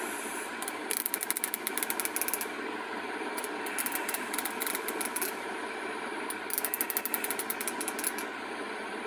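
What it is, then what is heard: Plastic hair comb. Long acrylic nails strum and tap along the teeth of a small, solid, bright pink plastic wide-tooth comb. The result is three runs of rapid, bright, dry ticking clicks over a steady midrange hiss.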